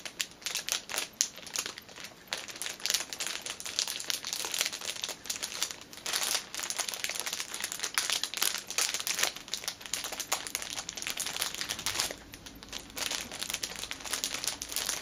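Long nails scratch and fingertips press a flat orange fitness band sealed in a clear plastic cellophane sleeve, crinkling the film. The result is a dense, bright, continuous crackling and rustling with sharp scratchy bursts that briefly quiets before picking up again.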